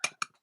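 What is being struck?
Espresso machine base, coated aluminum.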